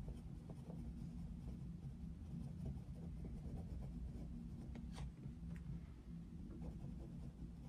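A wooden coloured pencil steadily shades a thin paper colouring page of Mickey Mouse lying on a desk, its tip scratching and rubbing the paper continuously. Soft, rhythmic scratchy strokes sit over a steady low rumble, with a couple of brief, brighter scratches standing out near the middle.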